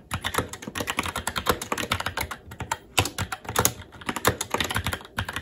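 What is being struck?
Mechanical keyboard, plastic keycaps on metal plate.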